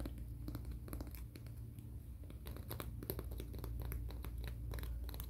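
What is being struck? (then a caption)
Emery board nail file and fingernails. Fingernails are scratched and filed across the abrasive face of a thin, solid, flat grey-black emery board nail file held in both hands. Short, irregular rasping strokes flash up bright over a steady low rumble, growing slightly louder and denser in the second half.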